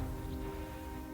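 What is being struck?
Nothing is struck.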